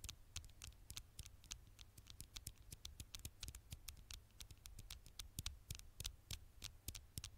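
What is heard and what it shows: Long fingernails tap and scratch the black glass screen of a smartphone held in one hand. Quick, sharp clicks follow in a fast, uneven patter, each with a bright, high edge and almost no ring, over a soft scratchy hiss and a steady low hum.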